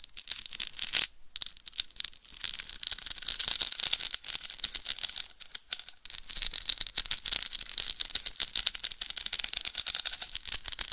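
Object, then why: Plastic rhinestone-covered microphone cover. A hollow, egg-shaped microphone cover about the size of a head, densely covered in small pink plastic rhinestones, is tapped and scratched by long white nails. The result is a dense, rapid stream of tiny, bright clicking and rattling ticks with almost no low end. A brief pause falls around the one-second mark and another near six seconds.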